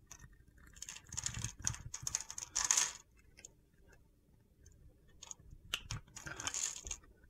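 A metal utility knife blade scores and scrapes a solid mint green bar of soap held in the hand. The result is bursts of crisp, gritty, high-pitched scratching and crackling, with short quiet pauses between strokes.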